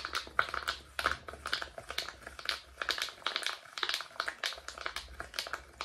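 Fingertips press and pop the hollow bubbles of a rainbow silicone pop-it fidget toy held in both hands in front of a microphone. They make a rapid, uneven run of short, dry popping clicks with a bright, hollow tone near 1.4 kHz and almost no ring.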